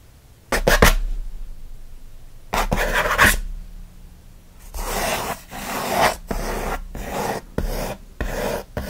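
Fingernails scratch fast across the lid and front edge of a closed, hollow kraft corrugated cardboard mailer box. Two brief rasping strokes come first, then a run of longer, louder bursts of dry, bright scratching separated by short pauses. A faint low hum sits underneath throughout.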